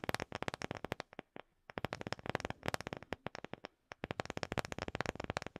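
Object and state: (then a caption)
Wooden object. A wooden object is tapped rapidly, giving about 35 short, dry taps in quick bursts separated by brief pauses. Each tap is crisp and broadband with almost no ring.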